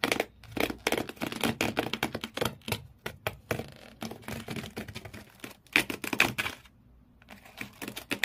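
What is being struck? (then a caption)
Empty corrugated cardboard shoe box. Fingernails scratch the corrugated cardboard floor inside an empty shoe box, leaving frayed marks. A rapid series of sharp, bright scratches and scrapes comes in bursts, with a brief pause near the end before the scratching resumes.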